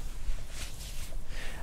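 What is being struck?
Nothing is struck.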